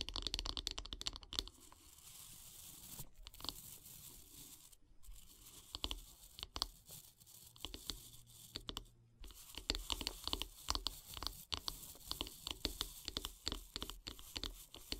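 Long nails scratch and tap along the solid light-wood handle of a wooden bath brush, near the bristle head. The result is a quiet, dry stream of bright, crisp scratches broken by many sharp, short taps that die away almost instantly.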